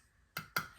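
Two quick taps on the metal lid of a glass preserving jar the day after pressure canning, done to check the seal. Each tap gives a short, tight, high ping with a faint ring near 1.4 kHz that fades fast. The tight sound shows the jar has sealed.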